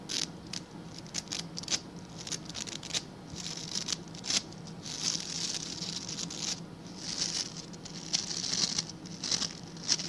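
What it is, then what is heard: Plastic scrub brush scratched. Fingertips and nails scratch the tufts of stiff white and blue plastic bristles on a hand-sized blue plastic scrub brush held close. The result is a dense, bright, crackling patter of quick dry scratches that swell and fade in bursts, over a faint steady low hum.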